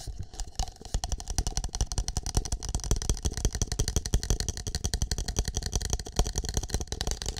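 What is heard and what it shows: Fingertips tap and scratch a single empty, hollow green plastic cup with a shamrock print, held near and against the microphone. A fast, uneven stream of short, dry taps and scratchy rustles follows, with a deep, boomy low end and brief high crackle.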